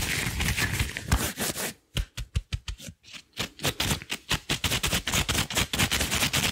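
Long blue rubber gloves worn on both hands have their palms pressed and rubbed together quickly, producing dense, bright squeaking and rubbery friction with low thumps underneath. Midway the rubbing breaks into short, separated squeaks and pops between moments of near silence, then picks back up into steady, rapid rubbing to the end.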